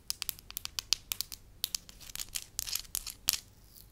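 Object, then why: Wax slab. A solid, beige soft wax slab is rubbed, crinkled and scratched with fingertips and long lilac nails. About twenty sharp, bright crackling ticks come in quick succession, almost no low end, each dying out instantly. Later they blur into denser scratchy, tearing-like rustles.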